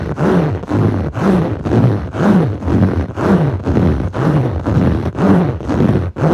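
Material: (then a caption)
Foam. Clawed fingertips scratch back and forth across a blue textured foam yoga mat, a soft solid sheet. The result is a steady run of swelling, breathy strokes, about two per second, with a deep, rumbling, almost roar-like low tone and almost no bright edge.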